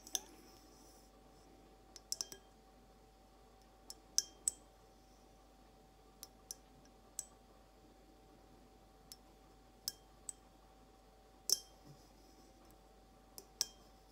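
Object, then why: Glass carafe vase. Long acrylic nails slowly tap a clear, hollow, empty glass carafe vase held upright, making sparse, spaced-out clicks with a bright, high glassy tick. Each tap dies away almost instantly against a quiet background with a faint steady hum.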